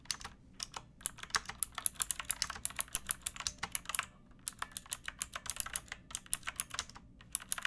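Long nails and fingertips type on a backlit pink mechanical keyboard with round plastic keycaps and a hollow plastic case. The result is a steady run of quick, bright, clacky keystrokes with almost no ring, broken by a brief pause near the middle.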